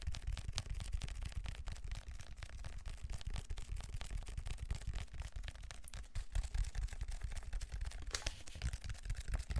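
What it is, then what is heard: Textured plastic foam roller. Fingertips and nails scratch and tap the ridged grid texture of a large black plastic textured foam roller held horizontally in both hands. The result is a dense, continuous stream of quick, dry taps and scratches with a heavy low thump and rumble under thin bright scraping clicks, each sound dying away almost at once.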